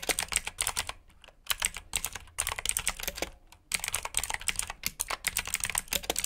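Fingertips of both hands type continuously on the keycaps of a black plastic RGB mechanical keyboard with blue switches. Bright, sharp clicks come in rapid bursts with brief pauses between them, each click dying away almost instantly.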